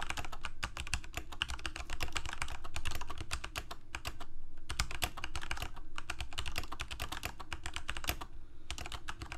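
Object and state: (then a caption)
Plastic mechanical keyboard being typed on. A full-size Corsair mechanical keyboard with plastic keycaps on mechanical switches, a hollow plastic case and blue backlight is typed on rapidly with the fingertips of both hands. Dense, fast clicking keystrokes run continuously with a low hollow thump under each press. Short pauses briefly break the stream.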